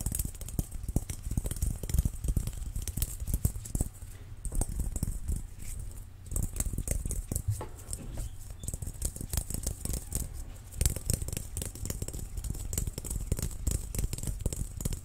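A large, hollow, transparent, dimpled plastic ball is held in the hands and tapped and pattered with fingertips and nails. Rapid, uneven taps run throughout, mostly dull low thumps with short, dry decay, plus faint bright clicky edges from the nails. Brief softer stretches break up the steady pattering.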